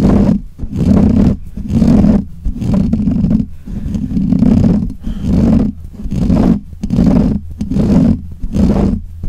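Fingernails of both hands scratch the black hollow metal mesh grille of a desk microphone. The scratching comes through as repeated swelling bursts of low, rough rumbling with a hum near 211 Hz, like a muffled roar, with little bright content.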